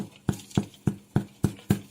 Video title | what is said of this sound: No-knead Crusty White Bread | sounds hollow so that means your bread is ready